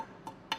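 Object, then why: Hose reel frame, steel. Two quick taps on the steel frame of a pressure washer hose reel give short, bright metallic ticks with a brief ring near 890 Hz. The steel frame sounds solid, and the second tap is louder than the first.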